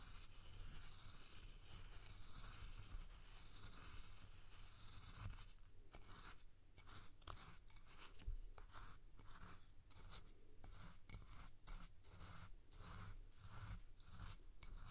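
A spoon scoops and stirs coarse salt in a clear glass bowl, shifting the salt's level. A steady, grainy crunching hiss gives way partway through to a series of sharper, repeated crunching scrapes as the spoon works through the salt.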